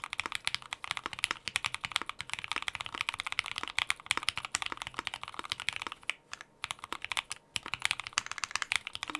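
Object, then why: Mechanical keyboard with plastic keycaps. Both hands type fast on a white compact Prophet mechanical keyboard with Gateron Inks Black V2 switches and plastic keycaps, resting on a desk mat. A rapid stream of short, bright clacks fills the clip, with almost no low end. Two brief lulls come around the six- and seven-second marks before the typing picks back up.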